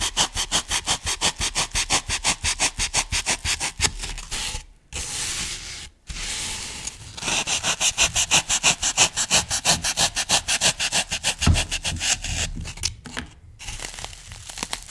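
A solid brick of green phenolic floral foam on a wooden table has a thin wooden skewer or blade drawn through it to cut and score it, then hands press and rub the block. Rapid, steady scraping strokes with a bright, crunchy hiss come in bursts separated by brief pauses, and softer pressing and rubbing is heard in between.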